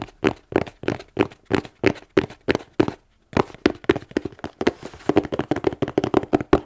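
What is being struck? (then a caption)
Corrugated cardboard box. Fingernails tap on the front face of a plain, closed, hollow corrugated cardboard shipping box held in both hands. Short, dry, hollow taps with a muted low-mid tone come at a steady pace. After a brief pause near the middle, they resume faster and denser to the end.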